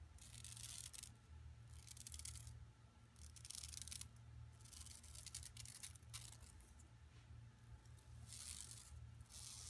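An empty, flat yellow woven plastic mesh tote bag with striped sides, lying on carpet, is scratched with long nails and rubbed with fingertips. Bursts of bright, dry scratching and rasping come in uneven strokes over a steady low hum.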